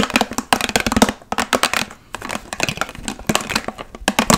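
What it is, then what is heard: Plastic water bottle, hollow and partly filled. A large, clear, hollow plastic water bottle with a blue cap and label, partly filled, is tapped quickly with long nails that have metal paperclips attached. The result is rapid bursts of crisp, bright, clicky taps with a light hollow plastic tone and very short ring. The bursts are broken by brief quiet gaps.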